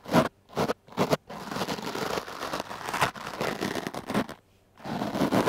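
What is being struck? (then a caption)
Foam microphone windscreen brushed with a stiff-bristle brush. The hard black bristles of a wooden clothes brush are drawn over a dark blue foam microphone windscreen. Three quick scratchy strokes are followed by a long stretch of continuous rough, crackling brushing, a brief silence, and then more brushing. The sound is dry and close, with its energy mostly in the mids.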